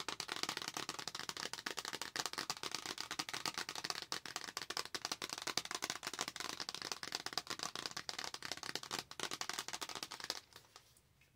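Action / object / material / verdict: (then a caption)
tap / small flat cardboard palette box / cardboard / none. A small, flat, rectangular Star Wars printed palette box, probably cardboard, is held in both hands while long acrylic nails tap and scratch its surface. The result is a steady stream of dense, bright, crisp clicks and scratches with almost no low end. Near the end the sound fades to near silence.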